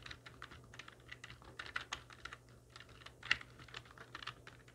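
Long nails and fingertips of both hands type on a full-size black plastic computer keyboard with hollow keys resting on a wooden desk. A quick, uneven run of short, bright plastic clicks and taps sounds, with one sharper louder clack near the end, over a faint low steady hum.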